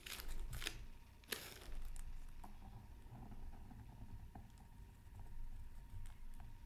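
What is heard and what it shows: A bamboo scratching stick held in the fingers scratches lines into a thin, flat black-coated scratch art card from a Mythical Creatures Super Scratch Art Pad, with a colored layer beneath, lying on a silicone mat. Short, dry, bright scratchy strokes come in quick bursts, loudest near the start, over a low, steady background rumble.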